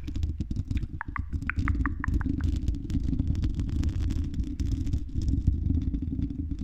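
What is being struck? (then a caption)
Metal mesh microphone grille scratched with long nails. Long red acrylic nails scratch the silver mesh metal grille of a condenser microphone's hollow dome. The scratching comes through as a dense, continuous low rumble with fine crackling texture, with a short run of faint, tonal ticks in the upper mids early on.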